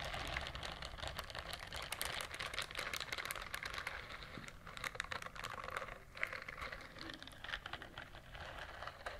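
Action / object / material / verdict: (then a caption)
scrape / silicone bristled scrubber glove / silicone / none. A pink silicone bristled scrubber glove is held out and rubbed and scratched with long nails. The result is a dense, continuous run of quick, dry, bright scratchy ticks and rustles, close and quiet, like rapid tapping. A brief dip in the texture comes just before the sixth second.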